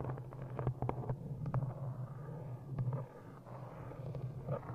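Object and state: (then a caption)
Cloth-bound hardcover book. Long nails tap an old green cloth-bound hardcover copy of "Ishmael" with an embossed cover, held close in front of the microphone. The quick taps come out soft, muffled and low, each dying away almost at once, over a steady low hum with no bright edge.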